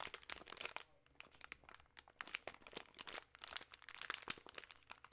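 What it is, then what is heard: Plastic candy bag crinkled. A full share-size plastic film bag of peanut M&M's chocolate candies is crinkled and shaken in the hands, partly close up. Dense, bright crinkling and crunching bursts come in quick clusters, with a brief quieter gap near the first second.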